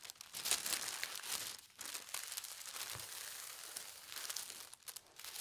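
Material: Paper.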